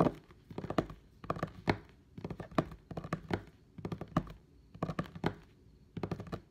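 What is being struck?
Wooden table top.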